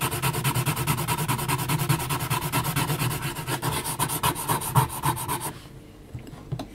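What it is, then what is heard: Graphite pencil hatching on heavy paper. A yellow HB pencil makes dense hatching strokes on a flat sheet of mixed-media paper, with the hand resting on the sheet as the graphite tip scratches the surface. The strokes come as a fast, steady run of dry, rasping scrapes with a low, papery body. Near the end they stop abruptly, leaving only a few faint, scattered scratches.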